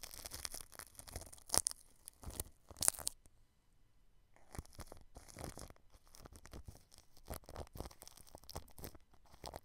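A paintbrush brushes across clear cling film wrapped over the grille of a white microphone, making close, crinkly crackling and scratchy brushing with a bright, hissy edge. Two sharp, louder crackles stand out early on, then the sound drops to near silence for about a second before softer, steady brushing resumes.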